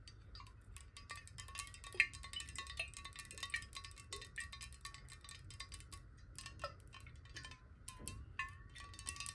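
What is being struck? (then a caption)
Glass bottle partly filled with water. A clear glass water bottle, held horizontally and partly filled with water, is tapped quickly with the long nails of both hands. The result is a dense run of light, bright clicks with short, high glassy rings and steady tones near 1 and 2 kHz, over a faint low rumble.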